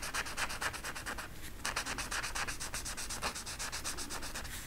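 A yellow marker tip rubs rapidly back and forth over a flat velvet coloring poster on a stiff backing, filling in the feathers. The result is a fast, steady train of bright, scratchy rubbing strokes with a brief pause partway through before the strokes resume.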